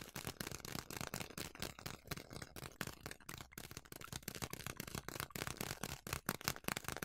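Fingers with long nails crinkle and squeeze a large, partly full yellow plastic bag of quick oats. The result is a dense, continuous run of sharp, dry crackles and rustles, broadband and bright, with quick bursts of louder crinkling.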